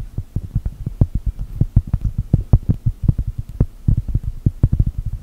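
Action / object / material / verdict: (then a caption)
tap / thin round cork mat / cork / none. Long gel nails tap and scratch across a large, thin, solid round cork mat printed to look like a cookie. Some thirty quick, soft, dull thuds follow one another in a steady patter, low and muffled with almost no high or bright content. Each tap dies away almost at once.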